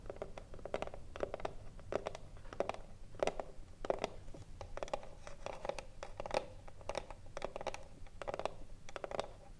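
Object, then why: Wooden cigar box. Long nails scratch the front panel of a hollow wooden cigarillo box standing upright. Short, raspy strokes repeat in quick bursts, each carrying a hollow midrange resonance around 550 Hz that dies away almost instantly.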